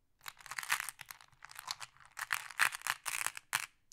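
A handful of small, solid, flat glass decorative pebbles is held and shuffled in the hand while fingers pick more from a pile in a wooden tray. Bright, dry clacking comes in quick bursts with short pauses between, each click dying away almost instantly.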